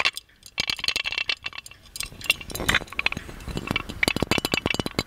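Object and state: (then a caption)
Gold-plated metal lamp. Fingernails tap the handle, lid and body of a gold-plated metal magic lamp held up in the air. They make a rapid string of bright, short metallic clinks that ring near 2.75 kHz and die away almost instantly. A softer, scratchy rustle runs beneath the taps midway through.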